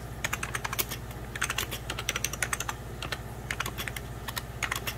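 Fingertips and nails type on the keys of a hollow, beige plastic 1990s Packard Bell computer keyboard. The result is a rapid, uneven run of short, bright clicks and taps that stop quickly, over a steady low hum.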